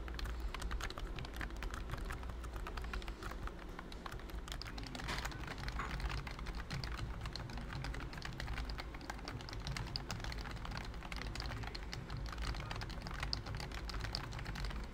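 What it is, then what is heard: Plastic computer keyboard being typed on. Fingertips type steadily on a pink plastic BT21 COOKY computer keyboard with round keycaps and a hollow body. A dense, continuous stream of short, light plastic clicks and taps runs for the whole clip at an even level. A low, boomy rumble sits underneath.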